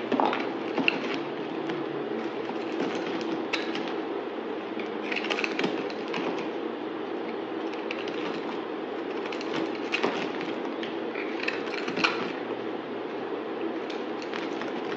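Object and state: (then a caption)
White bar soap being shaved. A solid white bar of soap held in the hand is shaved with a utility knife blade, making a steady run of soft scraping and cutting sounds. Brief crisp clicks and bright scratches rise above a continuous low-mid rasp throughout.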